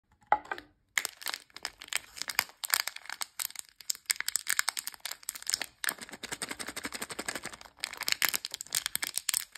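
A small sealed blue foil-plastic Chee Puff candy bag, full of coated peanut candies, is held in both hands and squeezed and crinkled by fingertips with long nails. Dense bursts of bright, sharp crackling and crinkling come in clusters with brief quiet gaps, with almost no low end.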